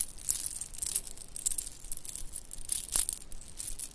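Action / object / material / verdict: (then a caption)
shake / shell and bead bracelet / shell / none. A shell and bead bracelet is held up by one end and jiggled, so the shell chips and beads clink against each other. Light, bright clicks and tinkles patter quickly and irregularly for the whole clip, with a few sharper clacks standing out.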